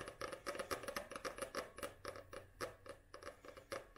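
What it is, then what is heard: Paperback book cover. Long nails tap and scratch quickly on the glossy printed cover of a small paperback book held upright. The result is a fast, uneven patter of short, dry clicks, about four per second, with light scratchy brushing between them.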